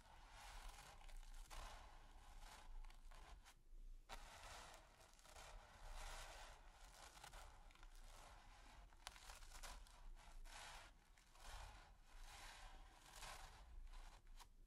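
A splayed, stiff-bristle brush is scrubbed and scratched across a flat, taut, textured primed canvas. It makes a quiet, continuous dry scratching and rustling that swells and fades in repeated strokes. The bristle noise is bright and hissy, over a low, soft rumble.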